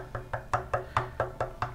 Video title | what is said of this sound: Claret Ash 3 Ways - Snack Bowls from One Tree - Canberra ACT Harvest | Right in the heart of that density, it's actually looser. It doesn't sound as dense.